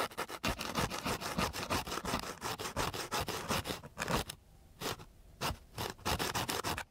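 A long flat wooden stick is rubbed quickly back and forth across a flat, gritty coarse sandpaper sheet, making dense, rasping scratches that are bright and full across the range. Midway the strokes pause into faint, soft rubbing, then the harsh scratching picks up again before ending abruptly.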